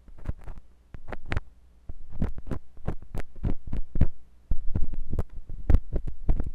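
A metal drill-bit tip on a wooden handle twists and scratches inside the ear canal of a white silicone binaural microphone ear. It produces close, muffled scraping with deep low thumps and pressure rumbles, punctuated by quick crackling scratches that flare briefly bright. Short bursts are separated by near-silent gaps.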